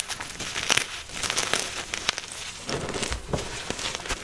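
A soft, solid white magnesium carbonate gym chalk block is squeezed and cracked in both hands by the fingers and thumbs, then rubbed and crushed against the powder pile. Dense, bright crackling and crumbling fill the clip, with sharp little snaps and short powdery crunches that die away almost instantly.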